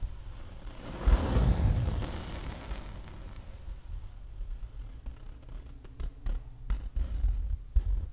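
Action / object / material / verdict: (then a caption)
tap / acrylic-painted stretched canvas / painted canvas / none. A fingertip, then several fingers, tap and scratch the acrylic-painted surface of a large, taut stretched canvas on an easel, hollow behind like a drum skin. A broad, rough scratching swell comes first, followed by a run of soft, dull, low thumps spaced irregularly through the second half.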